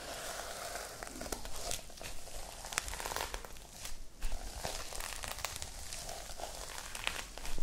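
Long light-blue nails scratch and tap on the plastic sequins of a small sequin-covered notebook held close to the mic. Dense crinkly, crackling scratches fill the clip, with sharp bright ticks and short taps scattered irregularly over a low rumble.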